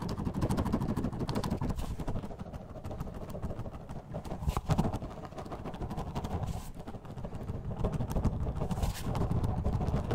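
A clear plastic bottle holding purple orbeez water beads is shaken in a black-gloved hand right beside the mic. It makes a dense, continuous, irregular rattle and slosh, heavy in the lows, that swells and eases in waves, with a brief louder burst near the middle.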